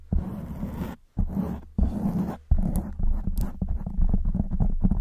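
Long white nails scratch a black foam windscreen on a silver microphone, making deep, muffled, rumbling scrapes with a low hum around 62 Hz. A few separate strokes with brief pauses are followed by steady, uneven scratching.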